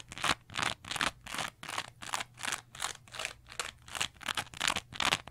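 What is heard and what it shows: A small green textured cellulose sponge, held close, is scratched and squeezed with long nails. A steady run of quick, rhythmic scratching strokes follows one after another, each a bright, hissy rasp with almost no low end and no lingering ring.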